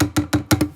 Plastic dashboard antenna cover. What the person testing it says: it was a tight fit getting it on now but it stopped the rattle that's what we wanted